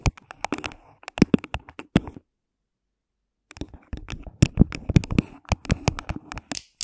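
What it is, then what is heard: Hollow plastic cup. Long pink nails tap and scratch the sides of an empty, hollow, thin clear plastic cup placed over the microphone. Quick, dry clicks and scratches come in dense clusters with a hollow low resonance beneath them, broken by a silent pause in the middle. The cup gives short, muffled knocks with almost no ring.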